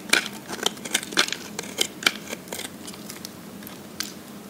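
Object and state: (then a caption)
Dry bar soap being carved. A metal blade scrapes and carves the surface of a dry, solid pink soap bar, now thinner and held in the hand, as pink shavings pile up below. A quick series of crisp, bright scraping clicks is heard, loudest early on and thinning toward the end, each dying away almost instantly.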